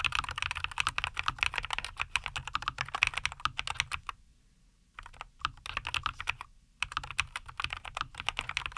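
Both hands type continuously with their fingertips on a compact 75% NuPhy Air75 V2 mechanical keyboard with a white case, green and white plastic keycaps and linear Cowberry switches, resting on a wooden desk. Rapid, bright, short clacks centred around 2.5 kHz come in dense bursts, with brief quiet pauses near 4 to 5 seconds and again just before 7 seconds.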